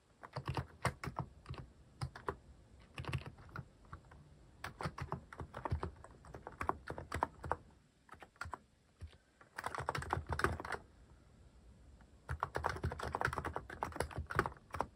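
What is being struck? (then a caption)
Plastic mechanical keyboard. Fingertips type on a cream plastic-cased mechanical keyboard fitted with cat-themed plastic keycaps. Quick runs of short, muted clacks come in bursts with brief pauses between them. The sound is deep and rounded, with little high-end brightness.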